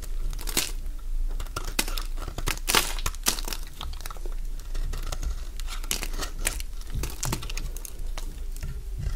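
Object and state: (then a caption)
Bar of soap being carved. A partly carved solid cream bar of Fa soap is held in the hand while a metal blade scrapes crunchy shavings from it. Dense, rapid crisp scraping and crackling crunches run throughout, with bright, sharp bursts over a steady low rumble.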